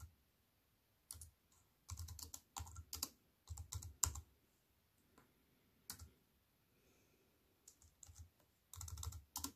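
Fingertips with long white nails type on a compact computer keyboard with black plastic keys set in a silver aluminium frame. Bursts of quick, bright clicks come with a low thud under each flurry, broken by short pauses. Each keystroke stops almost at once.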